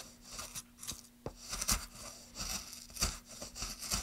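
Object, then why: Wooden plank. A gloved hand makes repeated carving and scraping strokes into a solid light wood plank with a small wooden-handled gouge. Each stroke gives a bright, dry, rasping scrape with short woody clicks and a faint low hum underneath.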